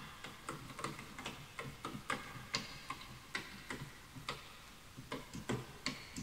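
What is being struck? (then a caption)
Bamboo wood computer keyboard. Fingertips type continuously on a full-size bamboo wood computer keyboard with wooden keys, while the mouse is left untouched. About 19 short, dry, hollow clacks are heard in an uneven rhythm, each bright and quick to fade.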